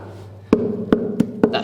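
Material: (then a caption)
Wood. Four knocks on an old wooden board in a bunker floor produce short, hollow-sounding thuds centred around 230 Hz, each dying away quickly over a low background hum. The spot sounds hollow, unlike the solid floor around it.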